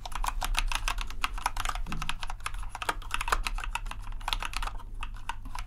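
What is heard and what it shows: Steady two-handed fingertip typing on a compact white plastic RGB mechanical keyboard produces a rapid, continuous run of crisp clacks. The clacks center around 1.2 kHz and have short, dry decays, over a constant low hum.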